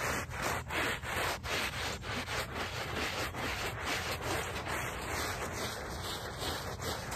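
A small handheld brush with a brown back scrubs in circles across the back side of a small wet, soapy woven rug lying on pavement. The sound is a continuous, bright, gritty rasp of bristles on the wet weave, swelling and easing with each uneven circular stroke. A wet hiss runs underneath throughout.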